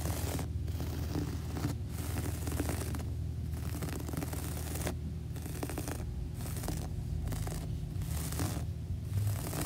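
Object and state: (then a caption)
Carpet scratched with fingernails. Long nails scratch across a beige, textured floor carpet with a soft textile pile, making bursts of dry, bright rasping that stop and start in short pauses. A steady low hum runs underneath throughout.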